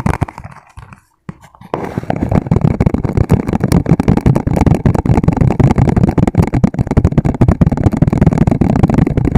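Fingertips tap and scratch fast across the ridges of a transparent, ribbed, hollow and empty plastic food container held sideways. After a quiet, scattered start with a brief silence, a dense, continuous stream of rapid hollow taps sets in, heavy in the low end with short, dry decays.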